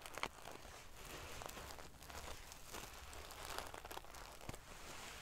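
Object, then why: Pillow covered in small metal sequins. Long painted fingernails scratch and ruffle the rows of small silver metal sequins sewn onto the fabric of a large decorative pillow. A steady, quiet, bright crinkling rustle runs throughout, dotted with sharper little clicks and crackles as the metal pieces flip against each other.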